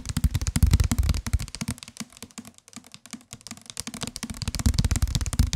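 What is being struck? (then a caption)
Softcover paperback book. A solid white and green softcover paperback book, held in the hands, is tapped rapidly with the fingertips on its cover. The result is a fast, uneven stream of short, dull, low thuds, louder at the start and end and softer in the middle.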